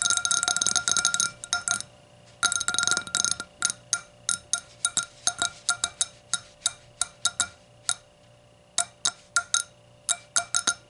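Long nails tap both sides of the thin wall of an empty, clear hurricane glass, striking its curved hollow bowl as it stands upside down on a towel. Two quick, dense flurries of bright clinks give way to a steady run of separate, sharp taps. Each tap carries a short glassy ring near 1.4 kHz that dies away almost at once.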